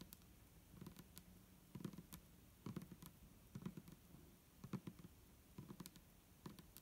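Long nails tap the sides of an upright, clear plastic micellar water bottle with a green cap, hollow and holding liquid. Quiet, short, dull taps with a low hollow body around 170 Hz carry bright clicky nail ticks on top. They come in irregular bursts of quick strikes and die away almost at once.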